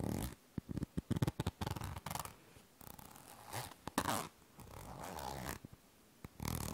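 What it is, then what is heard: Plastic cosmetic cream tube. Long painted nails tap and scratch the surface of a small yellow plastic squeeze tube of cream held close to the mic. Quick, dry, low taps come in a rapid burst, then give way to longer crinkly scratching strokes with brief pauses, ending in one more scratching pass.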